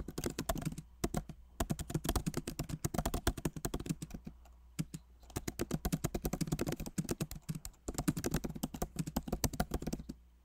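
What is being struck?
Laptop keyboard with plastic keycaps.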